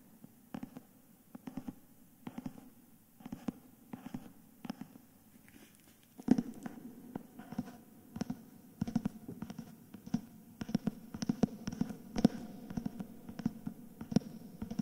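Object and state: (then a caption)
Hardcover book with paper dust jacket. Fingertips and nails tap and scratch the back cover and spine of a solid, cream, paper dust-jacketed hardcover book held upright in both hands. Sparse, soft, dry taps with a dull low-mid body come first, then after about six seconds they give way to denser scratching mixed with quick taps. Each hit dies away almost instantly.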